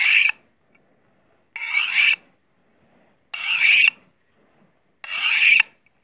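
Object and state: Steel knife drawn along a honing steel.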